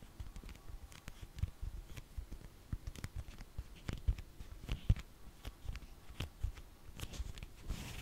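A black foam orthopedic insole, held upright, is tapped and scratched with long fingernails. The result is a quiet, irregular run of soft, dull taps with low thumpy weight and short, bright scratchy clicks, each dying away almost at once.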